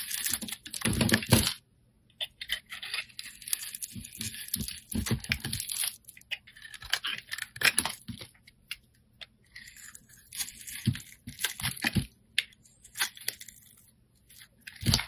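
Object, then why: Glycerin soap bar scraped with a steel blade. A steel utility blade scrapes long ribbons off a hand-held, solid, translucent orange glycerin soap bar. The clip is a run of crisp, bright rasping strokes, some long and some short, separated by brief near-silent pauses. A faint low hum sits underneath throughout.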